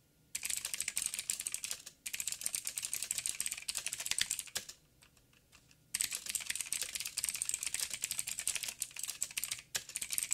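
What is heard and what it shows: Fingertips type rapidly with both hands on a backlit 87-key mechanical keyboard with plastic keycaps and clicky blue switches on a metal plate. Dense, bright, sharp clicks run in fast bursts, with a brief break near two seconds and a longer silent pause around five seconds. The typing then resumes at the same quick pace until the end.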